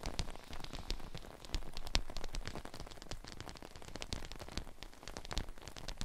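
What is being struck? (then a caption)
Clear PVC dome umbrella canopy. Long painted nails tap rapidly on the outside of a large, clear PVC dome umbrella, whose hollow, thin plastic canopy arches over a glitter mannequin head fitted with ear mics inside. The dense, quick clicks and soft low thumps blend into a steady, rain-like patter that rises and falls for the whole clip.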